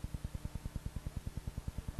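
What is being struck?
Nothing is struck.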